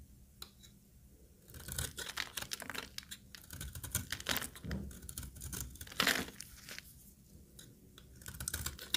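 A solid, oval, dry white soap bar held in one hand is shaved with a utility knife blade, scraping flakes onto a pile of soap shavings. After a quiet start, bursts of dry, crackly, bright scraping come in uneven strokes, with a sharp louder scrape near the middle and more rasping toward the end.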